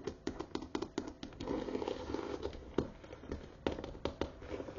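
Fingertips and long nails tap and scratch the leather bottom panel of a brown croc-embossed leather tote, which is held upside down with its flat base and metal feet facing up. The hollow bag gives a quick series of short, dry, hollow taps with a mid-pitched body around 400 Hz that die away almost instantly. Soft scratchy rustling fills the gaps between the taps.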